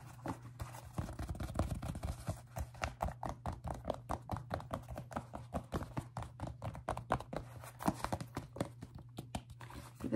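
Short painted nails and fingertips tap and scratch the upper and rubber sole of a single empty grey, white and black athletic sneaker with a mesh and synthetic upper. The result is a rapid stream of soft, dull, quickly fading clicks and scrapes over a steady low hum.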